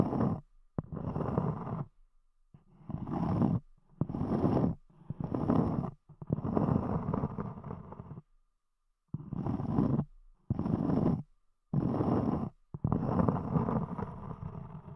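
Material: Cork.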